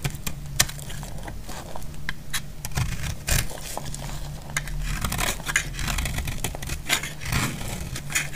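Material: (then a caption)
Soap. A utility knife blade cuts and scrapes along the edge of a solid, dry yellow soap bar. It makes dry, crackly scraping with many short, crisp ticks and snaps, some bright and sharp, over a steady low hum.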